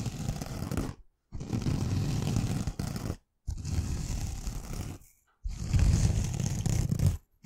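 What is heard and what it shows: Long nails scratch the green rough scouring layer of a rectangular pink foam kitchen sponge held in one hand. Four slow, harsh scratching passes are heard, each a dense, low rumbling rasp with a faint high hiss, separated by brief silences.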